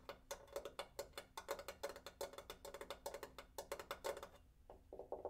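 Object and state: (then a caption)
Water heater tank. A water heater tank is tapped in a rapid, uneven series of short, crisp knocks with a mid pitch around 560 Hz that die away almost instantly. After a brief pause near the end, a few softer taps follow.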